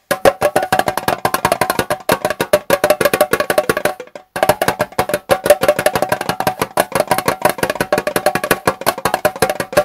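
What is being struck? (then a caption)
Small metal tea tin with metal lid. Fingertips and nails tap rapidly on the gold metal lid and sides of a small, hollow Twinings Prince of Wales tea tin as the tin is rotated. The result is a dense stream of short, hollow, woodblock-like clicks with a tone near 590 Hz and almost no ring. The tapping stops briefly around the four-second mark before resuming.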